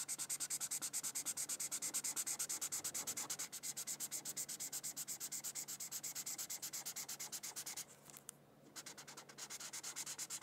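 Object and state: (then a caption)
Felt-tip marker coloring on paper. A red felt-tip marker is rubbed quickly back and forth across a thin white paper coloring sheet, making a steady run of about 86 bright, scratchy, hissing strokes. The strokes pause briefly near the eight-second mark, then resume at the same quick pace.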